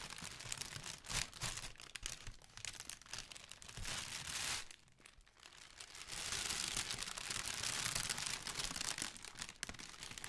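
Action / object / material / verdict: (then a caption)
scrape / tissue paper honeycomb ball / tissue paper / none. Hands scratch and crinkle the surface of a large, hollow, pale pink tissue paper honeycomb ball held close, making dense, bright papery crackling and rustling. The texture comes in uneven bursts with a brief quieter lull near the middle before building to a steady, busy crinkle.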